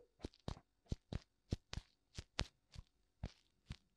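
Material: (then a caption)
Silicone. Fingertips tap both white silicone ears of a black binaural microphone in a steady series of close, dull thumps. Each tap is a short low-heavy knock with a brief bright crackle and almost no ring. Quiet gaps fall between the taps.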